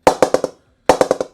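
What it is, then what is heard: Cricket bat with a good ping at mid-blade. A Laver and Wood PP01 Signature English willow cricket bat is tapped with a ball at the middle of the blade as part of a low-to-high ping test. Eight quick, woody knocks come in two runs of four, each with a bright tone near 520 Hz that dies away almost at once. The bat gives a good ping at the middle position.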